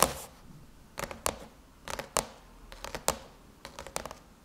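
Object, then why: Aluminum laptop lid. Long chrome nail tips tap rapidly on the closed silver aluminum lid of a MacBook. The clip is quiet and dry: short, bright metallic clicks come in small clusters, with an initial scratchy rustle and brief pauses between bursts.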